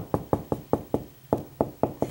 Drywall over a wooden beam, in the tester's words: there's a big old beam inside the wall there because when I'm tapping from right there to there it's hard